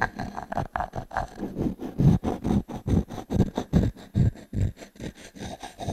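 A small wooden cube is rubbed and scraped across a solid round pine log-slice coaster held in one hand, then set down and tapped. The result is a quick run of dry, low, woody scrapes and knocks, about two or three per second, each short with almost no ring.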